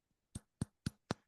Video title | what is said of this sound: BioChar - Many on the Farm Applications for Natures Black Gold | sounds very metallic. Sounds like metal or glass.